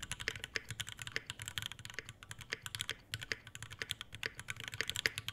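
An Iron180 full-size tenkeyless mechanical keyboard with a brass bottom, brass plate, Alpaca V2 switches, and white ABS keycaps in a dark metal case sits on a desk mat while both hands type fast strokes with their fingertips. The result is a rapid, steady stream of crisp, bright keystroke clacks with a soft low thock beneath each one. Every hit dies almost instantly, with no ring.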